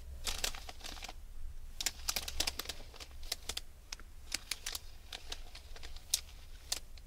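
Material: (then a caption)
Aluminium foil. Long red nails scratch, pick at and crinkle the surface of a hand-sized package wrapped in crinkled aluminium foil. Sharp, bright crackles and crinkles come in quick bursts over a low steady hum, each one cutting off almost instantly.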